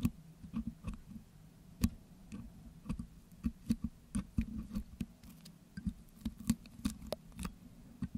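A metal pick scratches and picks at wet green putty on top of a Blue Yeti microphone's hollow metal wire-mesh grille. The result is a quick run of short, dry clicks and ticks with brief scraping patters, over a steady low hum near 200 Hz.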